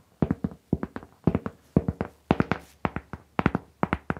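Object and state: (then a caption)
Cork board. Long pink nails tap and scratch a large round cork board, a flat, solid mat held by its edges. About 22 quick, dull, low-pitched taps fall in an uneven rhythm, each dying away almost at once with little brightness.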